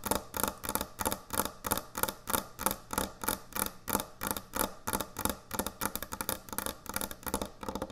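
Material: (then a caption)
Wood. Long nail tips tap fast on a large, thick, solid wooden end-grain butcher block cutting board. The result is a rapid, slightly uneven run of short, dry clicks, about three per second, each with a bright, crisp edge and almost no ring.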